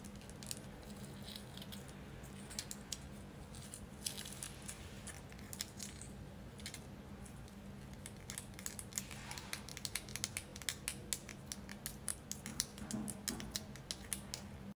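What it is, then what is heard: Selenite crystal tower tapped and scratched. A solid white tiered selenite crystal tower is tapped and scratched along its ridges with long acrylic nails. Many quick, dry, bright clicks and scratchy rasps come close together over a low steady hum, with no ring after each touch.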